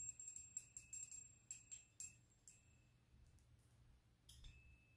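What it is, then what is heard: Metal candle snuffer bell. A rose-gold metal candle snuffer, a small hollow bell on a long thin handle, is held up in the hands while the bell is moved and tapped so it rings. Bright, high, tinkling chimes come in quick irregular taps for the first two and a half seconds, each leaving a thin sustained ring near 2.7 kHz. After a quiet stretch with a faint low hum, a final pair of taps chimes out near the end.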